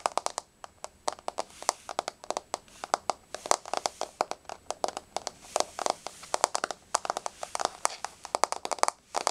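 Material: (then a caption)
Wood. Long blue-painted fingernails on both hands tap a flat, solid wood-grain floor. The result is a rapid, irregular run of dry, sharp clicks with no ring, each one crisp and mid-to-bright in tone.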